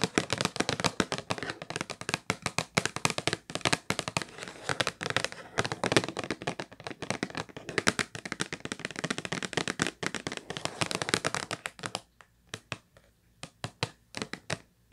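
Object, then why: Cardboard tissue box. Long nails tap and scratch fast across the surface of a hollow purple Kleenex cardboard tissue box, making a dense run of crisp, bright clicks and scrapes. Near the end, the sound thins out to a few separate, sharp taps.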